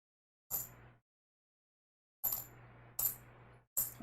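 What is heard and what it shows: A coin from a coin roll, likely a 1980 coin, is dropped four times, each strike giving a bright, high clink that fades quickly. The short, dull ring sounds dead, showing the coin is not silver.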